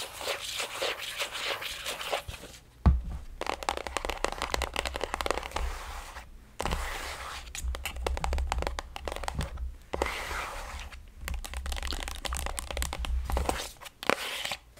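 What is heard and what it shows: Long acrylic nails tap and scratch the surface of a squeezable plastic body cream tube with a strawberry print, about 20 cm long and apparently filled. Dense, crinkly scratching and rapid clicking taps come in bursts, broken by a few brief pauses over a low, steady rumble.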